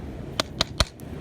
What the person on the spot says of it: It sounds metallic.